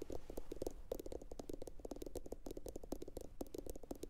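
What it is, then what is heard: Ceramic bowl, hollow. A medium, hollow, empty blue glossy ceramic bowl sits upside down and is tapped with long pointed acrylic nails from both hands. The result is a fast, continuous patter of short, clicky taps. Each tap carries a hollow ring around 470 Hz that dies away almost instantly.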